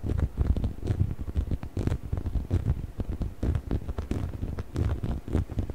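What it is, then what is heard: Rubber chicken toy. A hollow yellow rubber chicken toy is held in both hands beside the microphone while fingertips scratch and rub its textured rubber skin. The result is a continuous stream of soft, low, muffled scratching and rubbing with frequent brief crackly bursts.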